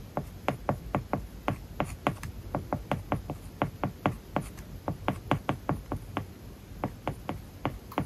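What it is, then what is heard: Stylus writing on a tablet screen with matte film. A plastic stylus writes lines of text on an iPad's solid glass screen covered with a matte plastic paper-like film. It makes a steady run of short, dry taps with faint scratching strokes between them. Each tap has a soft, low body and dies away almost instantly.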